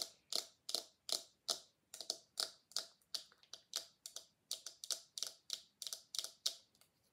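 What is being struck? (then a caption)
Silicone scalp massager tapped with fingernails. Long nails tap and flick the bristles and body of a small pink silicone scalp massager held in both hands. The result is 21 quick, soft, bright clicks in an uneven rhythm, each dying away almost at once with no low end.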